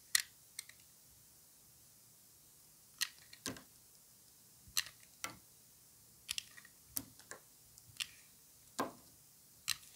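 A utility knife blade shaves and cuts a solid, dry, white rectangular bar of soap held in a gloved hand, with curls of soap falling away. About fourteen short, crisp, bright scraping clicks are heard, spaced irregularly over quiet pauses. Each one is brief, with almost no low end and virtually no ring.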